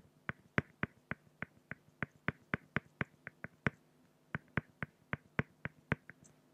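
A fine-tip pen draws strokes on a flat, solid acrylic glass (plexiglass) sheet, working around a raven's eye. Each stroke makes a short, dry tick, about two dozen in a steady run with a brief pause near the four-second mark, over a faint low hum.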